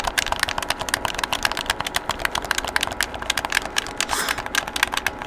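A hollow black plastic PlayStation game controller is held in both hands while fingertips rapidly press and click its buttons and sticks. A steady, dense stream of about 29 short, bright plastic clicks and taps follows, each dying away almost at once.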